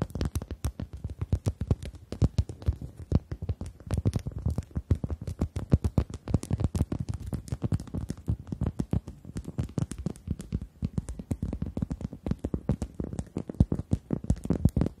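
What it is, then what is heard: Rubber chicken toy. Long acrylic nails tap and scratch the surface of a pink-red rubber chicken toy held upright with both hands. The result is a rapid, continuous stream of short, dull, low-pitched taps with scratchy edges and almost no ring.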